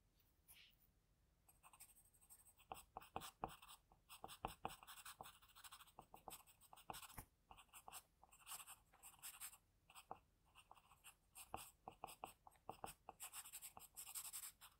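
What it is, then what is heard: Pencil scratching on paper. An HB wooden graphite pencil tip scratches short sketch lines onto a thin, solid sheet of flat white drawing paper resting on a desk. Quiet, dry, papery scratching comes in rapid bursts and strokes, with a bright, hissy texture and almost no ring after each stroke.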